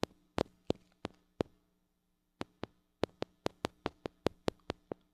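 Long acrylic nails tap and scratch the metal mesh grille of a small gold-colored mini microphone with a metal body and hollow head, held in one hand. Eighteen sharp, dry clicks sound close up, with a pause after the first six, over a faint steady low hum. Each click is bright and dies away almost instantly.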